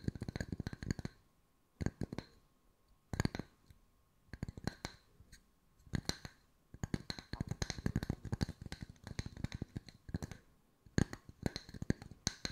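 Wooden discs are tapped with the fingertips at mixed speeds, giving short, dry clicks with a low, hollow body and bright edges. The taps come in quick flurries separated by brief pauses, over a faint steady tone.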